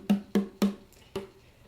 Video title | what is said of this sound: MIKE PEREIRA TENOR UKULELE - Review | can feel by tapping it how thin it is and you can hear that sound